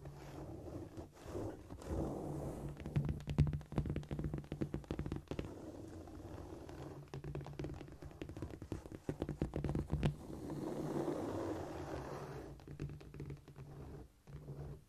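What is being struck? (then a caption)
Cork floor tile. Long painted nails of both hands tap, scurry and scratch across a flat, solid cork floor surface. Rapid, irregular dull taps mix with soft scraping, giving a muffled, low-heavy sound with almost no bright content and very short decay.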